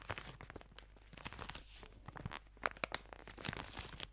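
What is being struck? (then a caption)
Plastic-film-wrapped tube. A white and pink product tube still wrapped in plastic film is squeezed and scratched with long nails. The result is a quiet run of crinkling, crunching and tearing-like film noise with many sharp, bright clicks and scrapes. A few louder crackles come near the end.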